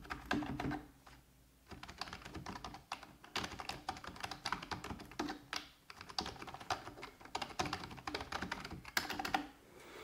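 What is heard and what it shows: Fingertips with red-painted nails type rapidly on a full-size black plastic computer keyboard resting on a wooden desk. Dense bursts of short, clicky key taps rattle along with brief pauses between runs, each tap dying away almost at once.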